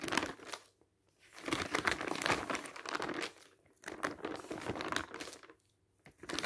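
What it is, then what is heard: Glossy paper magazine. Fingertips lift and flip the pages of a thin glossy printed paper magazine lying open on a stack of magazines on a table. Bursts of crisp, bright crinkling rise and fall with each turn, separated by brief near-silent pauses.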